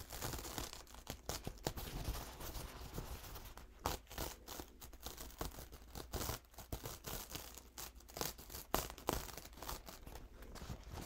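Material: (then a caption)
Paper. A single thin, soft, white textured paper towel stained with green, grey and blue paint dots is held up and unfolded with the fingertips of both hands. It gives a steady stream of quiet, dry crinkling and rubbing with many short, bright crackles over a low background rumble.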